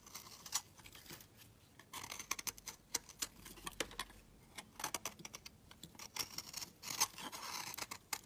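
A green and yellow marbled solid soap bar is held in the hand and scraped and shaved along its edge with a metal box-cutter blade. Quiet, crisp, bright scraping strokes and sharp little ticks and crackles come in irregular bursts with almost no low end. Each sound stops instantly, with no ring.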